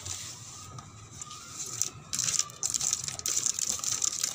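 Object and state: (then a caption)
Car body tapped and scratched. Fingertips tap and scratch a car body in rapid, irregular bursts that sound like typing clicks. The sound is bright and hissy with almost no low end, and a faint steady tone sits underneath.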